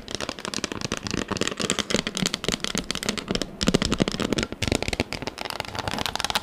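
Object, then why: Textured plastic tablet case. A pink textured plastic tablet case, held in front of the face, is tapped quickly with long acrylic nails. The result is a dense, fast run of sharp, dry clicks and crackly taps with bright highs and a bit of low thump. Each tap dies almost instantly, and the rapid pace carries on throughout with only a brief pause.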